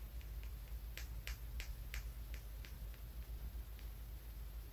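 A small, solid, polished brown tumbled stone is held in the fingers and tapped with the fingernail of the index finger. Quick, bright clicks recur at an uneven pace over a steady low rumble, each dying away almost at once.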